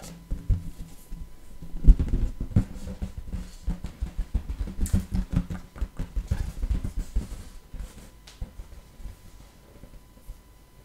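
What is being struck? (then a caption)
Inflated latex balloon. An inflated light blue latex balloon, hollow and air-filled and held in both hands, is tapped and scratched with long nails. A quick, uneven series of soft, low, dull thumps and faint scratches is heard, each fading almost at once.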